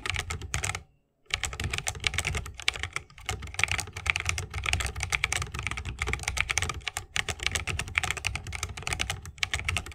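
Continuous fingertip typing with both hands on a 60% mechanical keyboard with a bamboo case, plastic keycaps and Holy Panda switches. Rapid, bright clacking keystrokes carry a deeper thock underneath, with a brief pause near the one-second mark before the steady typing resumes.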